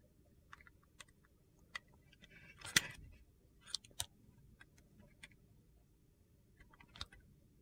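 A metal utility knife blade shaves thin, brittle slivers off a solid, translucent glycerin soap bar with purple pieces, held in the hand. Short, crisp, bright clicks and scrapes are scattered across the clip, with a louder crunchy burst in the middle, over a faint low background.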